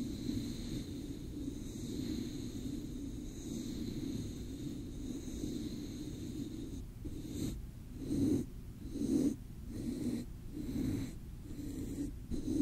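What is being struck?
Nothing is struck.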